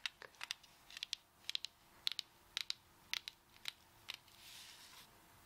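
A beach coconut is tapped repeatedly with long acrylic nails, giving 16 quick, bright, dry clicks in loose, uneven clusters with no ring. The clip ends in a soft, airy hiss.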